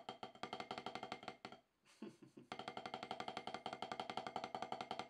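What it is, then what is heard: Rubber drum practice pad. Two wooden drumsticks tap a solid, octagonal HQ snare practice pad with a dark rubber surface, producing fast, slightly uneven strokes with a dry, woody knock around 750 Hz and bright clicks on top. The taps stop for about a second, with a soft brushing noise in the gap, then resume as a steady, even stream of quick strokes through to the end.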